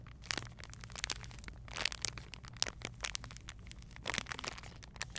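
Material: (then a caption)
Plastic. A clear plastic bag with a printed label, holding a charcoal exfoliating glove, is pressed and crinkled by fingertips with long painted nails, then turned over to the back. The result is a steady run of bright, sharp crinkles and crackles over a low, constant hum.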